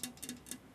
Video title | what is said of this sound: Natasha Raskin Sharp & Margie Cooper - Day 2 Season 21 - Antiques Road Trip | It almost sounds like plastic. It's so thin.